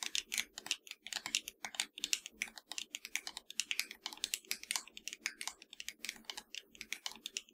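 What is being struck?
Plastic game controller.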